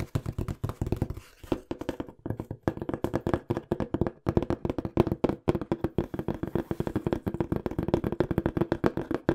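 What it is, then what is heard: Cardboard box. Fingertips tap and knock quickly on a small, hollow, empty-looking brown corrugated cardboard box. The result is a rapid, uneven stream of short, dry, hollow thuds with a low boxy resonance around 340 Hz, little ring, and almost no bright content.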